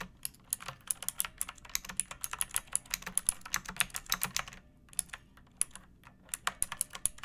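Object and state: Plastic mechanical keyboard.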